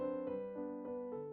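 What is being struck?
Nothing is struck.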